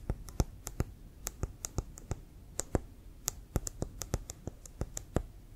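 Fingertips and nails tap quickly on a brown, hollow, inflated leather American football held sideways in both hands. Around two dozen short, separate taps each give a dull low thump with a bright clicky edge that dies away almost instantly.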